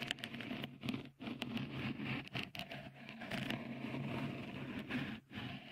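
Fingertips scratch a small, hollow, white dimpled cover, likely silicone, fitted over the right microphone capsule of a Tascam recorder. A dense, close scratching and crackling patter runs throughout, with bright rustling texture over a steady low hum and a few brief drops into near-silence.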